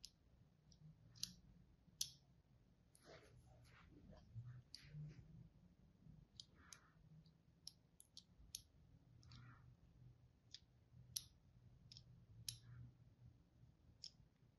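A solid white bar of soap with an oval embossed logo is held in hand while a thin blade tip scores fine lines into its surface. Quiet, bright, crisp clicks and short scratching strokes come at irregular intervals over a faint low hum, each dying away almost instantly.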